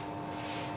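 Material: Nothing is struck.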